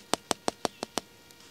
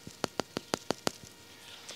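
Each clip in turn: First: empty plastic water pipe. Second: full water delivery pipe.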